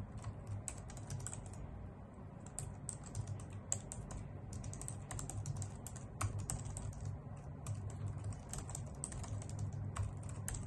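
Both hands with long acrylic nails type fast on a full-size white plastic computer keyboard with low-profile keys, which sits on a wooden desk. A steady stream of quick, bright, clicky key taps and nail ticks plays over a soft, constant low hum.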